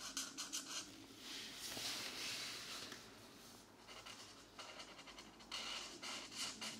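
A green-capped marker tip scratches short strokes over the thin paper of an open coloring book page with a mandala, which lies slightly rotated on a desk mat. Quick, bright scratchy strokes open the clip and then blend into a longer, steady hiss of scratching. This eases to a quieter stretch before another run of short, crisp strokes.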